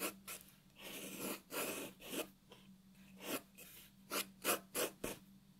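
A graphite pencil shades a white paper sheet resting on a wooden table, making bright, dry rasping strokes. The strokes come in an uneven series, some long and drawn out, others short and quick, with brief quiet gaps and a faint steady low hum underneath.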